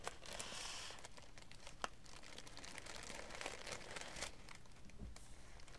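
Thin, light green tissue paper wrapping lying flat on a wooden table is handled and folded by both hands, with fingertips and long dark-painted nails working the sheet. The result is a quiet, continuous crinkling and rustling with bright, crisp paper textures and a few sharper crackles along the way.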